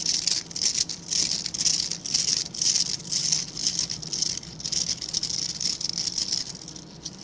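Fingertips and nails flick and scratch the dark synthetic bristles of a hand-sized scrub brush with a plastic back. The result is bursts of dry, bright, crackling scratches, roughly two per second and slightly uneven, each cut off quickly with almost no low end.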